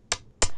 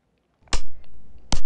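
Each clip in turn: First: metal bicycle spokes tapped on a table. Second: metal bicycle spokes tapped hard on a table.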